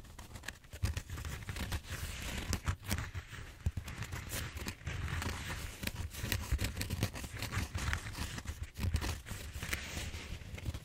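Fingernails scratch and tap the surface of a large purple bead-foam styrofoam roller held diagonally. The result is a steady stream of dry, crinkly scratching and crackling with bright squeaky edges over a low, hollow thumping body, punctuated by quick short taps.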